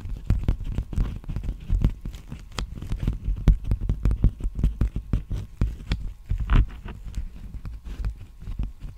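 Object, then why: Plastic bubble mailer envelope. Fingertips and nails tap and scratch a large black poly bubble mailer envelope with a textured bubble pattern, hollow and apparently empty, held upright at the microphone. A rapid, uneven run of short, dry taps lands as soft, deep thumps with little ring, and faint brighter scratchy flicks show between them.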